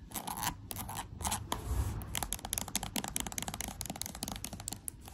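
Long blue acrylic nails tap and scratch across a pink and gold "Love Magic" plastic cosmetic tube, hollow and filled with lotion, lying flat on a white sheet. A rapid run of sharp clicks and scratchy bright scrapes comes in bursts, with a brief smoother rubbing passage near the middle and a low soft thud underneath.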